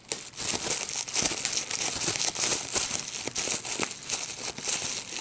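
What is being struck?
Plastic bubble wrap sheet.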